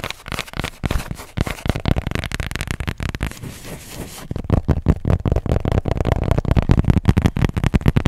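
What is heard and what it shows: Long nails tap and scratch quickly across the back of a marble-print plastic tablet case held upright near the microphone. Fast, irregular, dry low taps dominate, easing into a softer scratchy stretch around the middle before the tapping returns louder and denser.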